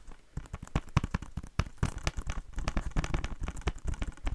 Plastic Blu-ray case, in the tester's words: I don't think it makes that great tapping sounds cuz there's a little bit that kind of gives it a bit of ring to it